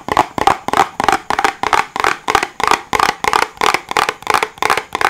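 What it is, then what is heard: Hollow cardboard box. A small, hollow white cardboard box is held in both hands and tapped and scratched with fingertips and nails. A quick, uneven series of short, dry bursts follows, each with a hollow papery tone around 800 Hz and a bright, scratchy edge. The sound dies away almost instantly after each burst.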